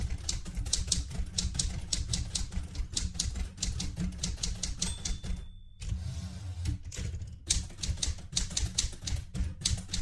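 Fingertips with red-painted nails type continuously on the round keys of a light blue vintage portable manual typewriter with a metal body. Rapid, bright key clacks ride over low mechanical thuds, with a brief pause about midway before the typing resumes.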